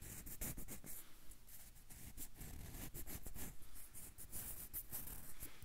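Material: Banana peel.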